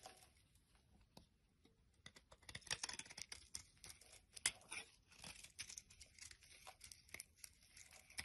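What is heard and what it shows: A utility knife blade shaves the surface of a solid, flat yellow soap bar held in the palm, carving it into flakes. The result is a string of quiet, bright, crisp scraping and crunching strokes, mostly high in tone and short, with the louder ones bunched in the middle.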